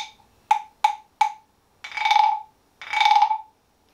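A small, unpainted, carved wooden frog guiro, hollow with a ridged back and held in one hand, is played with a wooden stick that taps and scrapes the ridges, then is lifted away at the end. A tail of a ringing knock fades at the start, followed by three sharp, hollow wooden taps with a woody pitch near 860 Hz and bright overtones. Two longer ratcheting scrapes follow, each a rapid buzzy rattle that swells and fades before silence.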